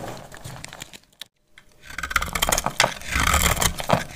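A metal utility blade scrapes and cuts a solid, dry, palm-sized brown rectangular household soap bar, shaving off curls and flakes. Crisp, crackly scraping with bright edges fills the clip, with a brief pause near the middle. After the pause, the scraping returns denser and louder.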